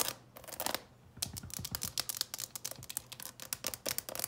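Long purple nails tap quickly on the lid and edges of a clear plastic coffin-shaped box full of candies while it is held. The result is a fast run of sharp, bright, dry clicks with almost no ring, broken by a brief pause about a second in before the tapping resumes.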